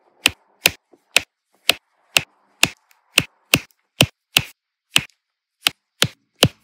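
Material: Resin.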